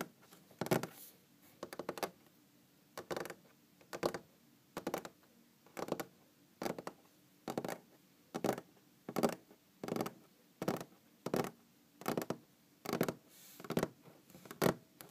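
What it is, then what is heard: Wooden tabletop. Long green-painted fingernails scratch and tap across a large solid wooden tabletop. Short, dry bursts of clicking and scraping repeat at an uneven pace, roughly once a second, with the tone centered in the low-mids and little ring-out. Quiet stretches fall between the bursts.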